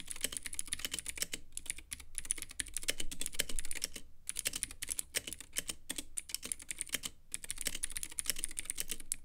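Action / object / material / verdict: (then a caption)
tap / plastic mechanical keyboard with acrylic case / plastic / none. A Womier K66 compact mechanical keyboard with Gateron Blue clicky switches, white plastic keycaps and a clear lit acrylic case is typed on continuously with the fingertips of both hands. It gives a rapid stream of sharp, bright clicks with short, dry decays and a low clack underneath. The typing pauses briefly a few times.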